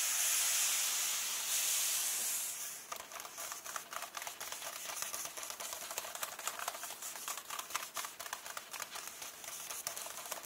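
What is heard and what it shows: Fingertips and nails rub and tap the pages of an open hardcover book, a glossy illustration page and a text page. A bright, airy papery hiss from rubbing fills the first few seconds, then gives way to a quicker, quieter stream of crisp nail taps and scratches at about four per second. The taps are dry, short and high-pitched, with almost no low end.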